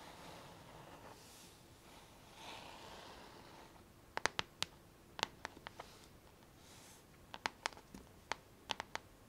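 Long fingernails scratch across the flat, hollow back shell of a pink plastic paddle hairbrush with a black rubber handle, making a soft, airy rustling for the first few seconds. They then tap the back in two bursts of sharp, bright clicks that stop almost instantly, with quieter scratching between them.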